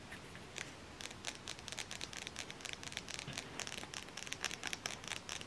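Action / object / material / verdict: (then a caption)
scrape / flat cardboard palette case / cardboard / none. Long nails scratch the ridged back of a flat black cardboard eyeshadow palette case held closed, then fingertips tap along its edge and face. The sound is a run of bright, dry, crinkly scratches followed by quick, light taps that die away almost at once, with little low end.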